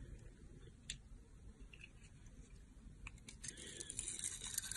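A solid rectangular soap bar with glittery blue and pink stripes is held in the hand and shaved with a yellow box cutter blade. Soft, bright scraping and crackling shaves sound over a quiet low rumble, growing denser and a little louder toward the end.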